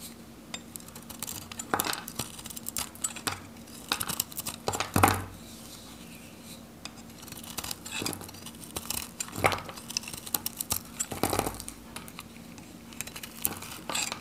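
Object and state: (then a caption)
Dry soap bar being shaved with a knife. A metal knife blade shaves and cuts thin curls from a solid, green oval bar of dried, varnished Godrej No.1 soap held in the hand. Dry, crisp scraping and crackling cuts come in irregular bursts, with the loudest strokes near 5 s and around 11 s. A faint steady low hum runs underneath.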